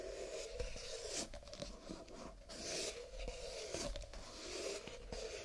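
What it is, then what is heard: Stack of paper cups. Fingertips rub and scratch along the ridged rims and cardboard body of a stack of nested, empty paper cups lying sideways in both hands. The result is a quiet, dry, papery rasp in slow sweeping strokes, with a steady mid-range tone under bright scratchy bursts and small soft ticks.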